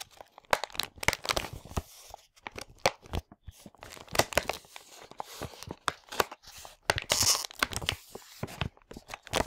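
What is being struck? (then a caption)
Plastic packaging bag of loose parts. Fingertips squeeze and crinkle a large printed foil-plastic LEGO Hero Factory 44022 bag, full of loose parts and held in both hands. Dense, bright crackles and sharp crisp snaps come in quick irregular bursts with brief quiet gaps, and each ends almost instantly. There is little low end.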